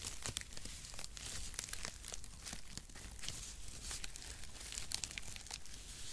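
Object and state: Cardboard packaging shreds.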